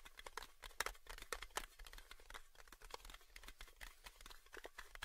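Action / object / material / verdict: tap / thin metal tin lid / metal / none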